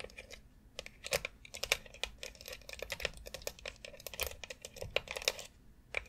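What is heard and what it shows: Long acrylic nails tap and scratch the rounded nubs of a white plastic foot massager board, which has a central dome and lies flat on dark fabric. Rapid, uneven bright clicks and short scratchy rasps follow one another, each dying away almost at once with very little low end.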